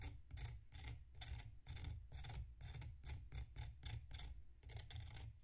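A metal knife scrapes and slices through a solid packed sand block resting on a plate. The clip is a steady run of gritty, crunchy rasps with bright hiss on each stroke over a low rumble. The strokes repeat in a regular rhythm, each one cutting into the crunchy sand.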